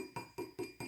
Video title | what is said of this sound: Ridgid e110 hex wrench review | even if I just tap on it with my fingernail you can hear ringing